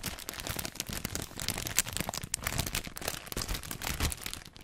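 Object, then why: Thin plastic bag holding disposable face masks. A clear, thin plastic bag holding a stack of white disposable face masks is held close to the microphone and squeezed and crinkled with fingertips and long painted nails. The result is a steady stream of bright, crackling crinkles over soft low rustles and thumps, with short sharp snaps throughout.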